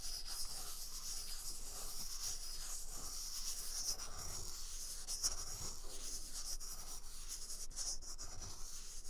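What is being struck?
Paper toilet roll.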